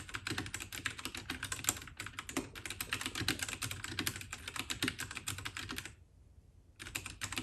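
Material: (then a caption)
Plastic. Both hands type continuously with their fingertips on an RK68 (RK855) compact white 68-key mechanical keyboard with brown switches and a plastic case and keycaps, resting on a desk. The result is a rapid, dense stream of bright, clacky keystrokes with a soft low thump beneath. The typing stops briefly near the end, then resumes.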